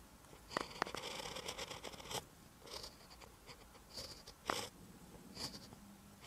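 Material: Paper.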